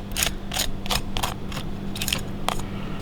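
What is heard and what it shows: The crispy skin of charcoal-grilled catfish is scraped or tapped, giving a rapid series of sharp, bright, dry crackles and crunches over a steady low hum. The crackling shows how crispy the skin is.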